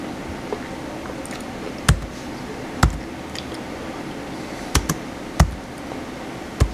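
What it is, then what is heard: Plastic laptop keyboard being typed on. Fingertips type on the white plastic keys of a small blue plastic HP laptop with a hollow shell, resting on a table. Seven short, sharp key clicks, one of them faint, stand out at irregular intervals over a steady low rumble. Each press has a dull, hollow low thump under a brief bright click that dies away almost instantly.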